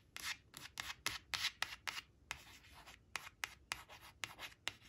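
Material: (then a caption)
Paper. A long acrylic nail traces and scratches the printed number and word on a thin coated-paper "3 three" flash card resting on woven cloth. About thirteen quiet, bright, dry scratching strokes come in an irregular rhythm, with almost no low end. Each stroke stops sharply with no ring.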